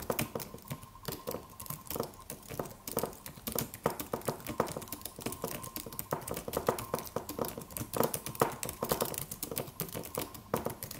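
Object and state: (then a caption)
Aluminum keyboard with plastic keys. A slim silver aluminum computer keyboard with white plastic keys and a solid low-profile body is typed on with the fingertips of both hands. Quick, short clicks come in dense, uneven bursts, with a faint steady hum near 1 kHz underneath.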